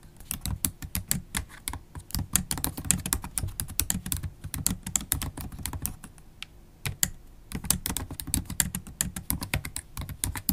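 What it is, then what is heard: Laptop keyboard with plastic keys in a metal body. Long pointed acrylic nails type continuously on a MacBook Pro keyboard with black plastic keycaps in an aluminium body, tapping with both nail tips and fingertips. The result is a rapid, steady stream of sharp, bright clicks over soft low thuds, with a brief lull just before the 7-second mark.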